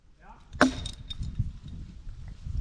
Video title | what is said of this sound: Sketchy Tree, I Almost Walked Away. | Hear it? Yeah. It's hollow.